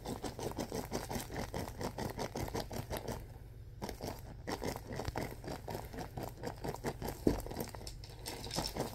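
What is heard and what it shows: A large clear plastic film bag filled with white soft stuffing is squeezed and pressed with fingertips. Its rapid, steady crinkling and soft patter is mostly low and mid in tone, with one sharper crackle near the seventh second.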